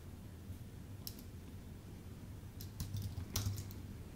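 A full-size white Apple Magic Keyboard with a numpad, with a thin aluminium base and plastic keycaps, sits on a dark desk and is tapped with the fingertips of both hands. Quiet, irregular key taps make short bright clicks, with a small cluster of quicker taps near the end. A steady low hum runs underneath throughout.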